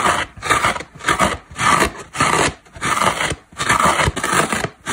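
Long black nails scratch and dig into a large, dry synthetic foam car sponge, a solid porous block, knocking small crumbs off it. The result is a series of rough, raspy scratching bursts in an uneven rhythm, bright and hissy with a midrange scrape and little low end, separated by short quiet gaps.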